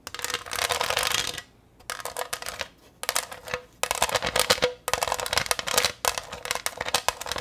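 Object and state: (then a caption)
Glass pineapple dish. Long green nails tap rapidly across the faceted surface of a green textured glass pineapple-shaped plate held up in the air. The sound is bright, crisp clicking in dense bursts separated by short pauses, with very little low end.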